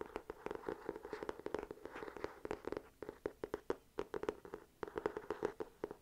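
Long nails tap and scratch across the embossed cover of an ornate, gold-patterned, solid hardcover journal held upright. Dozens of quick, dry taps with almost no ring sit over a soft scratching texture, centered on a mid-range tone near 420 Hz. The taps come in bursts, with brief quieter gaps around the middle and just before the end.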